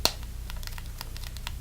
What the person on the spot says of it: It looks like it's made of metal, but it's actually very, very plasticky.